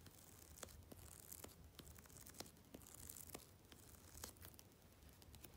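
Long red-painted fingernails tap and scratch along the edge of the glossy paper cover of a thick Vogue magazine lying flat and closed on a dark fabric surface. The result is a quiet stream of sharp, bright clicks and papery scratches over a soft low rumble.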